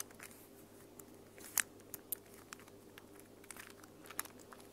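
A small mint plastic infinity cube fidget toy made of hollow plastic blocks is flipped and folded by hands with long nails. It gives sharp, bright clicks and soft rustles over a quiet, steady background hum, with one louder click standing out.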